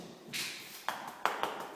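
A bare masonry wall is tapped by hand, giving three sharp, short knocks with a hard, dry ring around 800 Hz, preceded by a soft brushing noise. The wall sounds solid and hard, showing it lacks insulation.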